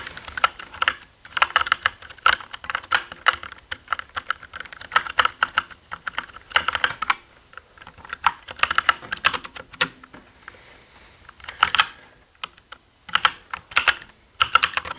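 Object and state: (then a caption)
Plastic mechanical keyboard being typed on. Both hands type with their fingertips on a black full-size mechanical gaming keyboard with plastic keycaps, producing a hollow sound. Fast, sharp, clacky keystrokes with a bright midrange tone come in bursts, separated by short pauses of near silence.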